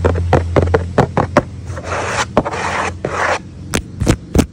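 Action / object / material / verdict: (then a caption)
scrape / corrugated cardboard pizza box / cardboard / none. Fingertips and short nails, with a metal ring worn on one finger, scratch and rub the printed lid of a large, flat, hollow corrugated cardboard Shakey's pizza box. Sharp dry taps and clicks alternate with longer raspy scratching bursts over a low steady hum. The hand lifts briefly at the end.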